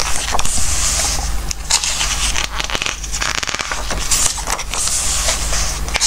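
Fingertips stroke and rub the glossy coated pages of a softcover Christmas book and turn them, making a continuous bright, crackly rustle and scraping with sharper crinkles as pages flip. A steady low hum sits underneath throughout.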